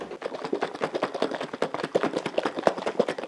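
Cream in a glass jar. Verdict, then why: Liquid. Cream in a glass jar is shaken at the start of making homemade butter, while it is still liquid and before it thickens into whipped cream and stops sloshing. Rapid, uneven sloshing taps come in a dense stream, with a hollow midrange tone and little bass or high end. The liquid can still clearly be heard splashing inside the jar, as expected at this early stage.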